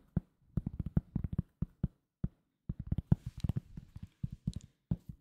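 Fingertips tap a thin, solid round cork coaster close to the mic, making an irregular run of quick taps with brief pauses between bursts. Each tap is a dull, low thud centered near 140 Hz that stops almost instantly, with no ring and almost nothing bright above it.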